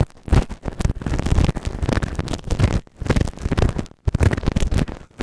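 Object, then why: Silicone ear microphone scraped with a plastic spatula. A white plastic spatula scratches inside the canal of a grey silicone ear microphone, and its pointed tip is pushed in deeper. The result is close, heavy, muffled scraping and rubbing with dull low thumps, broken by brief pauses.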